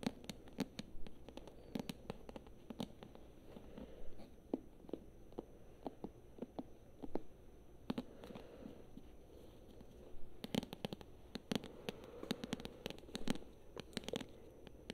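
Long nails tap and scratch the glossy paper cover of a thick paperback book held in both hands. Quiet, irregular dry clicks and short scraping strokes come in loose clusters over a low, dull hum.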